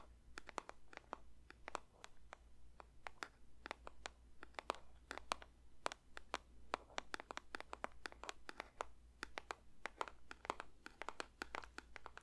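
A paper box is lightly tapped with the fingers in a quick, irregular series of dozens of soft, dry taps. Each tap is short with almost no ring, centered around 1.1 kHz with brighter clicky edges. A steady low hum runs underneath throughout.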